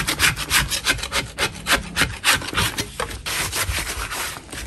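A gloved hand scrapes the sides of a large solid white natural chalk block standing in a tray full of chalk crumbs, using a flat metal scraper blade. Repeated rasping strokes shave off chalk, each giving a bright, gritty scrape at an uneven pace of about three strokes per second.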